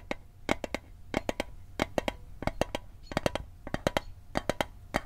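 Fingertips tap the lid and edges of a small, hollow, rectangular metal Altoids mint tin held in the hand. They make 25 quick, dry clicks in fast groups of two or three, each with a short, bright metallic tick pitched around 560 Hz. Each click dies away almost at once over a faint low hum.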